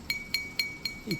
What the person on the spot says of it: it sounds like glass, but it's not. It's ceramic.